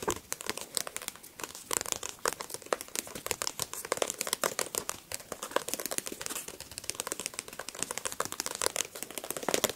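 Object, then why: Paperback book with a glossy card cover. Fingertips and nails tap and scratch rapidly on the glossy card cover of a solid paperback book. The result is a dense stream of dry, crisp clicks and crinkly scrapes, mostly bright with almost no low end, each tap dying away almost instantly.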